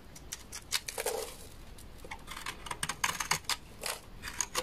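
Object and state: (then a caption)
Dry laundry soap bar. A utility knife blade scrapes along the edge of a large, solid, beige bar of dry laundry soap, shaving off powdery flakes. Quick, dry, crisp scrapes crackle in short bright bursts against a quiet background, each cutting off abruptly with almost no ring.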